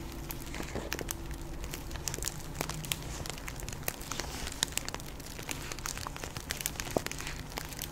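A medium plastic Jolly Rancher hard candy bag, filled with candy and held up in one hand, is scratched and tapped by long pink acrylic nails. The plastic crinkles and crackles continuously, with many sharp, bright ticks from the nail taps over a low steady hum.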